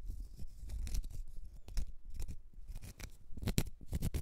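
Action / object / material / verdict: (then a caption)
scrape / cork stopper / cork / none. Long red nails scratch a small, solid, round cork stopper in quick, uneven strokes. Each stroke is a short, dry, rasping scrape with a dull low body and thin bright streaks on top, over a soft close rustle between strokes.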